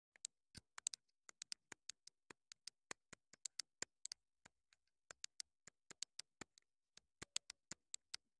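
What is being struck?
Small plastic clip-on microphone transmitter.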